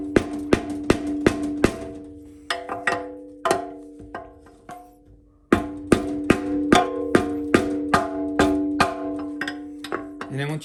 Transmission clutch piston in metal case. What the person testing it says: once you hear that solid thud, you know it's more or less all the way seated